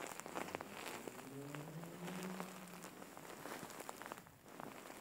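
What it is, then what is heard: Faux fur pillow. Fingers scratch and rub the fur of a large, soft, filled grey faux fur pillow up close. The sound is a quiet, steady bed of dense crackly scratching and soft rustling with brief brighter ticks, plus a faint low tonal hum that drifts upward in the middle of the clip. There is a short dip in level near the end.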